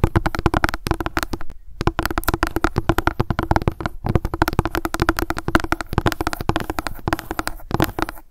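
Long fingernails tap rapidly on the top of a plastic sunscreen gel bottle, making a dense stream of short, dry clicks with a hollow plastic tone. The tapping runs almost without a break, pausing briefly a few times.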